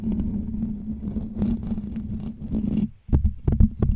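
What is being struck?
Metal wire-mesh microphone grille.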